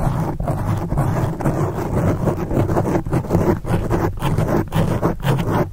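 Long acrylic nail tips scratch quickly across the top and sides of a black foam microphone windscreen. This produces a dense, steady, muffled rustling with a heavy low rumble and little high-end brightness. Brief dips break the texture as the strokes change.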